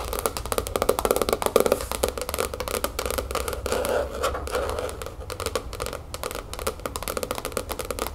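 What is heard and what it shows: A large, closed black hardcover spiral-bound sketchbook with a cardboard cover lies flat on a wooden table and is tapped quickly with the long acrylic nails and fingertips of both hands. The result is a dense, continuous patter of short, dry clicks centered in the mid range, with a faint low hum underneath.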